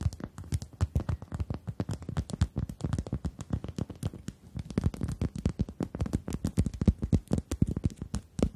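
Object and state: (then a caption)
Rubber chicken toy. A pink-red rubber chicken toy, held upright in both hands, is tapped and scratched rapidly by long acrylic nails. The result is a steady run of short, dull, low-pitched taps with quick scratchy clicks and almost no ring between hits.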